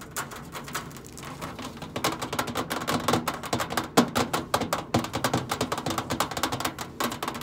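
Long acrylic nail tips tap and scratch on the flat side panel of a large, hollow stainless steel microwave casing. Sparse, soft clicks and faint scratching for the first two seconds give way to a rapid, louder patter of short, bright metallic taps over a hollow low ring around 240 Hz.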